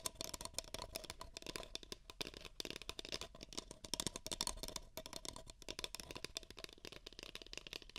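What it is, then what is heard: Paper cup tapped and scratched. Two identical empty, hollow beige paper cups are pressed against the ears of a microphone and tapped and scratched with fingernails. The result is a rapid, dense stream of dry, bright clicks and scratchy rustles with almost no ring, mostly high in pitch, over a faint low rumble.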